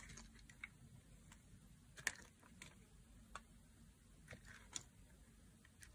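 A solid, translucent green bar of dry soap is held in the hand and carved with a knife blade into long curled strips. The blade makes soft, crisp ticks and short, dry scrapes at an irregular pace. The scrapes are bright and snappy, with no ring, over a faint low background hush.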